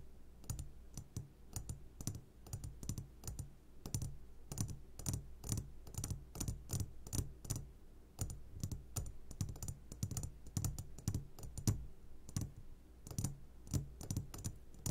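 A medium glass jar, turned upside down and full of sugared gummy candies, is tapped on its sides with the short fingertips of both hands. Quick, dull taps and clicks come in an irregular, steady patter with a brief bright edge on each, over a low constant hum.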